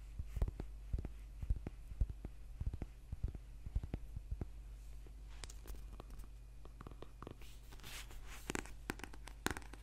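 Fingernails tap and scratch a thick, solid paperback book held upright, working over its spine, back cover and page edges. Quick, dry clicks come in an irregular run, with brighter scratchy rasps in the second half, all over a steady low hum.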